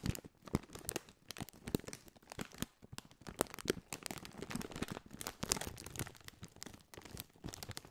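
A partly filled Doritos crisp bag of foil-lined, metallized plastic is held in both hands and crinkled and scratched with the fingertips. Dense, crackling crinkles and sharp snaps sound in quick bursts, with bright, crisp edges over a softer rustle. The crinkling continues steadily throughout, rising and falling in loudness.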